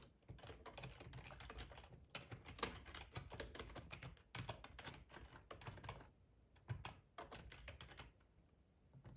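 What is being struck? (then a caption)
Plastic computer keyboard. Fingertips type on a black plastic ergonomic split keyboard with a hollow housing, resting on a cloth tablecloth. Quiet bursts of rapid, dense key clicks with a low, hollow thud under each press alternate with brief pauses. The taps are short and dry, with little ring.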